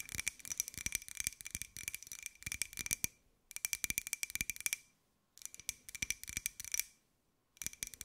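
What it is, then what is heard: Ceramic jar. A small, hollow, white glossy ceramic jar with a pineapple print is held close and tapped quickly with long acrylic nails. The result is bursts of rapid, crisp, bright clicks with a faint glassy ring near 2.3 kHz, separated by short pauses. There is almost no low end.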